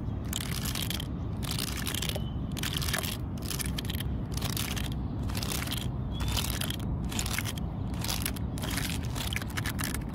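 Long fingernails scratch and flick the brittle, splintered wood spikes on the dry, cracked, grey top of an old, solid, weathered tree stump. The result is repeated bursts of bright, crackly scratching over a steady low rumble, with the level holding fairly even throughout.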